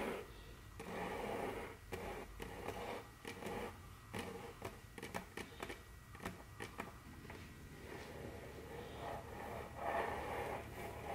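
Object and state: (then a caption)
Wooden tabletop. Very long curved fingernails scratch and tap on a large, solid, dark brown glossy wooden tabletop. Soft, scraping strokes alternate with a series of sharp, clicky taps that stand apart in the middle, over a low background hum. A louder scratching swell rises near the end.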